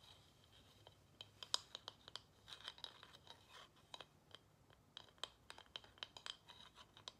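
A small, solid carved wooden plaque held in one hand is tapped and scratched with long nails on its flat back. About twenty quiet, dry, bright clicks and scratchy strokes come in an irregular run, each ending at once with no ring and almost no low end.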